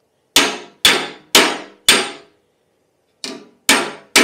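A thin pressed-steel legshield on a white Lambretta scooter is struck with a hammer while a gloved hand holds a dolly against the inside of the panel. Seven bright, ringing metallic clangs sound: four in quick succession, a short pause, then three more, each decaying quickly. The legshield is being beaten back into shape as part of a repair.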